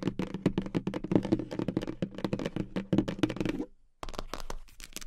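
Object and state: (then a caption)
Cardboard gift box tapped with fingernails. Long acrylic nails tap fast on the lid of a hollow, medium-size pink polka-dot cardboard gift box, making a dense run of quick, dry knocks with a hollow low body and almost no ring. The tapping stops for a brief silence just before the four-second mark, then resumes slightly softer.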